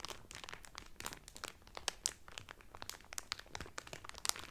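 Fingertips and nails crinkle the clear cellophane wrapper around a blue Carnival cotton towel folded flat inside it. A steady run of quick, bright crackles and snaps rises from a quiet hiss, with sharper pops scattered throughout. Each sound dies out almost instantly with no ring.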